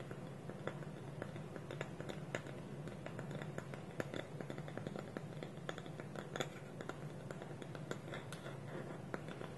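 Fingernails scratch and tap the curved side of a small, hollow, polished wooden bowl with a wooden lid, held tilted. The result is quiet, dry, closely spaced clicks and scratchy rustles over a low, steady background hum. Each tap dies away almost instantly, with no ring.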